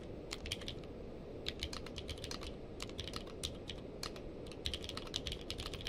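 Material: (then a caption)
Plastic. A purple-case mechanical keyboard with plastic keycaps is typed on with the fingertips of both hands. Quick, bright, clacky keystrokes come in uneven bursts over a steady low rumble below about 500 Hz, and each click dies away almost instantly.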